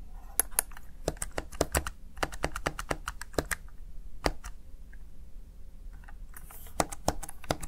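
Fingertips with short nails press and tap the keys of a small black plastic backlit Razer Tartarus Chroma gaming keypad. The result is an irregular run of sharp, bright plastic clicks that each stop almost instantly, over a quiet low hum.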